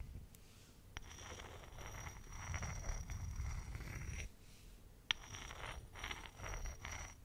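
A flat, hand-sized, solid grey rock with a rough surface, found in the forest, is held in one hand and scratched and rubbed with the fingernails of the other hand close to the microphone. Soft, gritty scraping comes in swelling waves, broken by two sharp clicks, over a faint steady high whine and low rumble.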